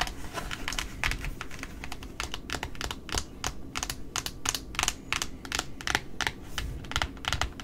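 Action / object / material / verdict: tap / cardboard ribbon spool / cardboard / none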